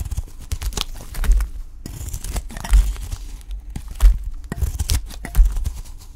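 A utility knife blade shaves thin slices from the edge of a solid, dry, pale cream olive soap bar held in the hand. Each cut gives a crisp, bright scraping crackle over soft, low thumps, repeating at an uneven pace.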